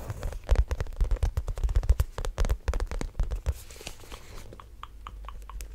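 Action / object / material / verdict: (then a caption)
tap / textured faux leather shoulder bag / faux leather / none. Long black-painted nails tap and scratch across a small black croc-embossed faux leather shoulder bag with a zipper top, held close to the mic. For the first few seconds there is a rapid, irregular run of short crackly taps with a deep thumping body. The sound then fades to quieter scratching and a few sparse, brighter ticks.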